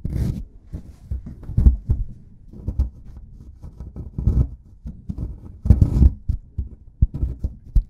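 A metal pick scrapes a solid plaster excavation block, then a white plastic stick digs into it. The result is a string of dull, low, muffled scrapes and short thuds with almost no bright content. The densest scraping comes around six seconds, and two sharp taps follow near the end.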